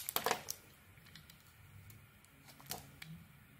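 A solid, dark-coated Isana bar of soap with a cream core, held in the hand, is carved with a metal blade. A quick burst of crisp, bright cutting clicks comes first, followed by quiet scraping. Two more sharp cuts come near the end.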